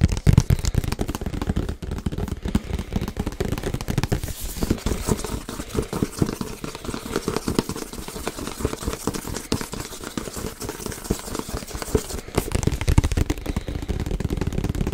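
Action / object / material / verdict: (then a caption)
tap / printed cardboard box / cardboard / none. A printed cardboard Yeti box with icon panels is held and rotated while being tapped with fingertips and nails. Rapid, dull, low-heavy taps mix with dry crinkly handling noise, bright edges of nail clicks showing through. The tapping runs steadily throughout, with louder bursts at the start and again near the end.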